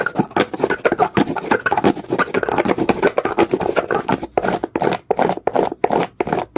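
A comb is dragged in fast strokes across the surface of a solid, dark, rough rock. The result is a rapid, irregular series of dry, scratchy bursts centered in the midrange, each cutting off almost instantly.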